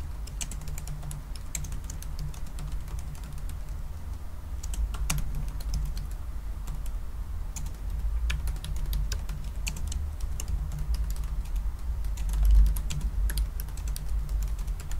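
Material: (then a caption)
Plastic. Fingertips of both hands type continuously on the black plastic chiclet keys of a silver aluminum laptop. Many quick, light, bright clicks overlap irregularly over a steady low hum. The typing continues at an even level throughout.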